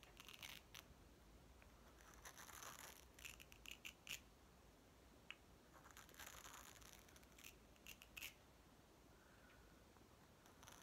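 Fingertips and nails tap and scratch the surface of a small, hollow, green plastic toy watermelon ball made of two halves, held in both hands, and work the halves apart. The result is quiet, bright scratching and rustling with scattered sharp plastic clicks over a soft low hum.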